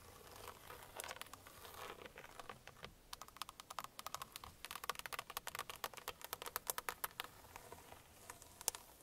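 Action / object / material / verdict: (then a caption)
tap / plastic steering wheel airbag cover / hard plastic / none. Long painted nails and fingertips of both hands tap and scratch on the center hub of a car steering wheel, a hard plastic airbag cover that is hollow behind. The sound is a rapid run of dry, bright clicks over soft scratching, starting sparse and busier in the first seconds, then packing into dense, crisp tapping that thins out near the end.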